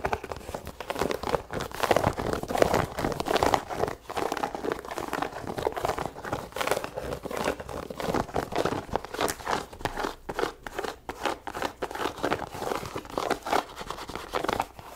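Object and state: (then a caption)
Leather sneaker being scratched. A white leather sneaker is held up while long nails scratch across its leather upper and laces. The result is a steady run of dry, crinkly scratching in quick irregular bursts, mostly midrange with light high rasp and little low end.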